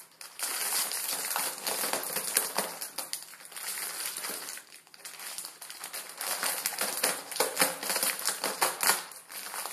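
A plastic film ramen packet holding crushed noodles is crinkled and squeezed with the fingers. The result is a dense, bright crackling and crinkling with no low end, easing briefly around the middle before rising again in sharper bursts of crackle.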